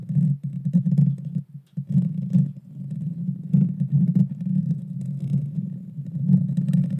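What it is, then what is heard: Metal microphone grille. Long dark fingernails on both hands scratch and tap the hollow metal mesh grille of a Blue Yeti Nano microphone. The result is a dense, boomy rumble of scraping and tapping, heavy in the low end around 170 Hz, with brief bright ticks. It swells and dips for about seven seconds.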